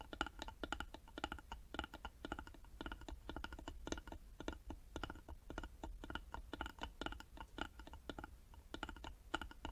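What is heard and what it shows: Long nails tap rapidly on the sides of a small, hollow carved wooden box held in both hands. The result is a quiet, steady stream of short, dry, clicky taps with a hollow tone around 1.4 kHz. A faint low rumble runs underneath throughout.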